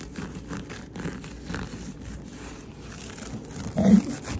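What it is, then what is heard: Matted carpet scratching. Fingertips and nails scratch and rub across a low-pile, matted, speckled brown and beige carpet lying on a solid flat floor. The result is a soft, muffled, continuous scratching and rustling, mostly low and dull with almost no bright edge, swelling into a louder rub near the end. The carpet is heavily matted down.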